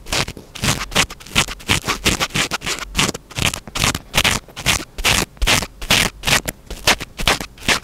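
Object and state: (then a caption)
Foam microphone windscreen being scratched. Fingertips scratch the surface of a small black foam windscreen on a microphone held in one hand. The result is a quick, uneven series of bright, dry scratching bursts, each dying away at once into short quiet gaps.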